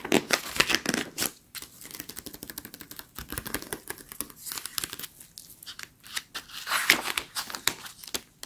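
Long acrylic nails tap and scratch across the thin glossy paper pages of an open interior design magazine lying flat on a fluffy rug. Quick, crisp clicks and papery scratching strokes crackle in a bright, high-pitched texture with little low end.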